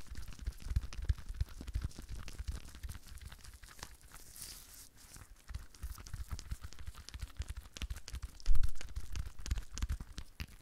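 A rhinestone-covered decorative ball, held in both hands close to the microphone, is tapped and scratched with long nails. Dense, rapid clicking and scratchy ticks ride over soft, low thumps, with a louder burst of handling near the end.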